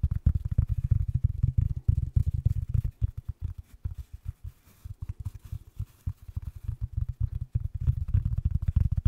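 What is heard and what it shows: Fingertips and nails scratch and tap the fabric crown of a grey wool-felt Dr Pepper snapback cap with a red brim, held over the mic with both hands. The result is a rapid, uneven stream of deep, muffled thumps and soft rubbing, with a quieter, sparser stretch in the middle before the tapping picks up again.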